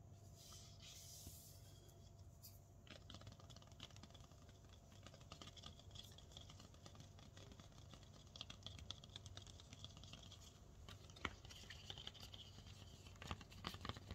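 A fingertip and nail scratch and tap the thick, stiff, solid leaves of a potted snake plant. Dense, dry scratching and soft clicking taps run over a low steady hum, with a few sharper, brighter taps standing out near the end.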